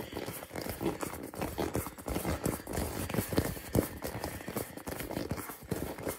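A hand-sized hollow purple rubber or plastic ball is held in both hands and tapped quickly with fingertips and nails. The result is a steady run of hollow, short knocking sounds with a low-mid thud, each one dying away almost at once, in a quick clip-clop-like rhythm that continues throughout.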